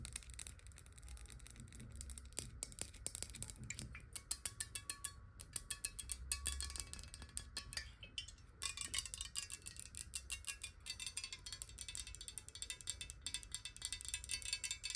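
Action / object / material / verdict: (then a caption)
tap / square glass bottle with a little water / glass / none. A clear, square, hollow glass water bottle holding some water is tapped quickly on its base and sides with long nails. The result is a dense stream of bright, dry clicks with very short ring over a soft low rumble.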